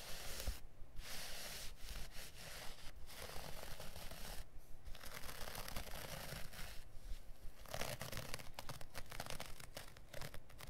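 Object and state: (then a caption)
Carpet offcut being scratched. Fingertips and nails scratch and rub the pile of a small piece of dark looped-pile carpet lying on a cutting mat. The result is a steady, dry scratching and rustling texture with a soft low rumble underneath, broken by a few brief pauses between strokes.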